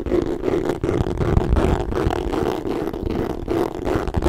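Fingertips scratch and tap a bright green MK leather handbag with chain hardware, held up and hollow. A steady, dry scratching rustle runs throughout, broken by soft, low, irregular taps and brief dull thumps.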